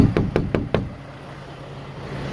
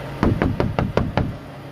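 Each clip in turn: First: Four quick, dull knocks that die almost at once: a filled, reinforced truck cab panel that sounds solid. Second: Six evenly spaced knocks, each a low, short boom off an unfilled truck cab panel that sounds hollow.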